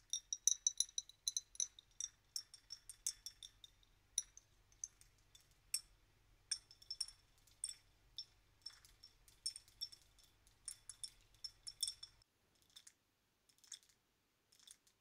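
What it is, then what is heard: Glass bottle filled with glitter. A small clear glass bottle with a cork-style stopper, full of purple glitter, is held in both hands and tapped and scratched with long painted nails. The result is a quick, irregular run of bright, dry glassy clicks and scratches. A faint low hum runs underneath until about 12 seconds, after which only a few sparse taps remain.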